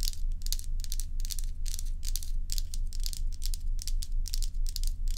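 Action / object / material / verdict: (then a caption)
scrape / block of ice scratched with fingernails / ice / none. Long acrylic nails on both hands scratch a large solid ice dome block, seen close from above. Quick, fairly regular bursts of bright, gritty scratching and crackling repeat over a steady low hum.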